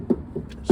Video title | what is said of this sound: MG 1968 MGB Roadster Walk Around | it's got the thump of being metal